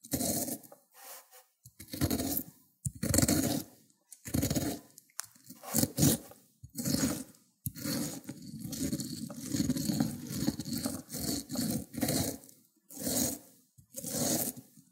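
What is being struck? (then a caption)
Cucumber on a ceramic grater plate. A cucumber is pressed and rubbed against the teeth of a white ceramic grater plate covered with green mush. Repeated wet, rasping scraping strokes come in short bursts with brief pauses, then a longer stretch of continuous grating midway, each stroke bright and gritty with a soft low body.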